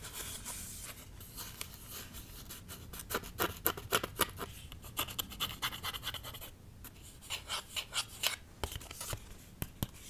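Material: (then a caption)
Card stock. A small, flat card-stock greeting card printed with pink balloons is held in both hands and scratched across its surface with fingernails. Quick, irregular dry scratches come in bursts, bright and papery with little low end. A faint hiss sits between the strokes.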